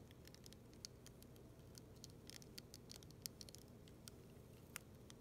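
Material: Acrylic.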